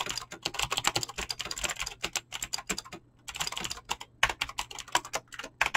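Fingertips type fast on a mechanical keyboard with clicky green switches and PBT plastic keycaps. A rapid stream of sharp, bright clicks and clacks is heard, with a brief pause partway through before the typing resumes.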